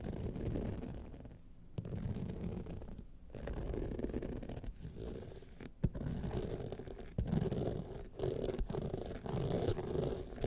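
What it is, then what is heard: Rhinestone-studded clutch wallet being scratched. Long nails scratch quickly across the studded face of a gold rhinestone clutch wallet, making a dense, rapid rasping texture. The scratching runs in bursts separated by short pauses, with a few sharper clicks standing out. The sound is weighted toward the low end with little bright content.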